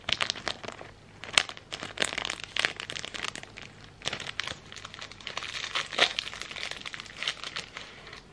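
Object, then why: Thin plastic incense wrapper. A thin, translucent plastic sleeve from an incense pack is crumpled, pulled and crinkled with the fingertips. Bright, crisp crackles come in irregular bursts, with the sharpest snaps near 1.4 and 6 seconds. Between bursts there is only a faint hiss, and nothing lingers after each crinkle.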